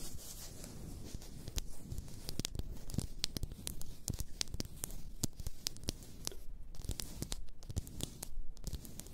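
Long nails tap and scratch the sides of a large, apparently glass bottle full of pink bath salt. Quick, crisp, bright clicks scatter over a steady scratchy rustle, each tap dying away almost at once. The sound stays soft throughout.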